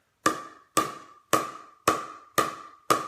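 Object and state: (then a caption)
Thick pickleball paddle, solid sound. A new, thicker composite pickleball paddle is tapped six times at a steady pace. Each tap makes a short, woody knock with a clear tone around 1.1 kHz that fades quickly. The paddle sounds quiet and solid, with a low register.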